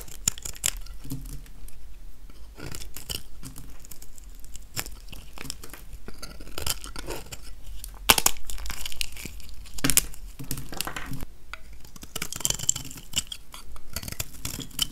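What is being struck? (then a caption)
Soap bar scraped by a metal blade. A metal utility-knife blade scrapes and shaves the surface of a small, solid, translucent, dry yellow soap bar held in one hand. Dry, crisp scratching and crunchy crackles come in uneven bursts, with bright grainy texture over a low rumble. A sharper, louder scrape stands out around the middle.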